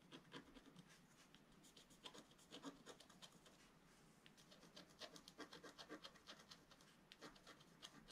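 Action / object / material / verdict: scrape / wax-coated scratch art paper scratched with a wooden stylus / waxed paper / none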